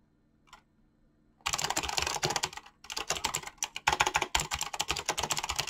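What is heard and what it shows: Fingertips type fast on a mechanical keyboard with clicky switches and pink-blue PBT plastic keycaps. After a quiet start with one faint tick, a dense run of sharp, bright clicks and clacks follows, with brief pauses between bursts.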